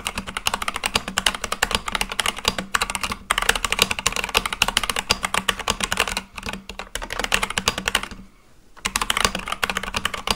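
A full-size Akko mechanical keyboard with white and light-blue plastic keycaps on a black case is typed on continuously and fast with fingertips. It produces a dense stream of bright, short clacks over a faint low hum. The typing pauses briefly a few times, with a longer near-silent gap about three-quarters of the way through before it resumes.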